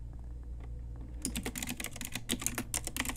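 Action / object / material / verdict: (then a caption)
tap / mechanical keyboard with plastic keycaps / plastic / none. A pink Ajazz typewriter-style retro mechanical keyboard with round plastic keycaps is typed on quickly with the fingertips and long nails of both hands. After about a second of quiet low hum, a rapid run of sharp, bright plastic clicks and clacks follows, each key strike short and crisp with almost no ring.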